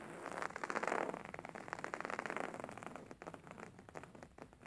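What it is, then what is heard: Embroidered linen pillow scratched and tapped. Fingernails scratch and fingertips tap across a beige embroidered linen pillow with stitched fabric. A quiet, rapid run of soft, dry scratching and tapping strokes centers in the midrange and rises in intensity for the first second. It then gradually thins out and fades.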